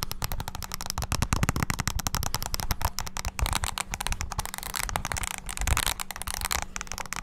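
Fingertips rapidly press the keys of a small black handheld plastic mini wireless keyboard held close to the mic. The result is a dense, continuous stream of sharp, dry plastic clicks and taps with a thumpy low end, plus a faint steady low hum underneath.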